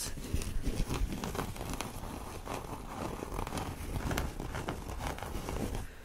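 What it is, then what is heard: Canvas tote bag scratched. Fingertips and nails scratch and rub across the printed surface of a flat, empty cotton canvas tote bag with a dark printed design and blue lettering, lying on a fleece blanket. The result is a steady, dry, crinkly scratching with a soft low rumble and small irregular bursts, continuing for about six seconds.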